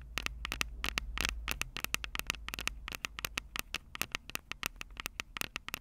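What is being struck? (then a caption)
Plastic and metal handheld audio recorder. Long purple acrylic nails tap and scratch the metal-grilled microphone capsule heads of a Tascam DR-05 handheld recorder with a plastic body, held upright on a table. A rapid, irregular stream of sharp, bright clicks sits over a low rumble, with a brief scratchy burst just after the first second. Each tap stops dead with no ring.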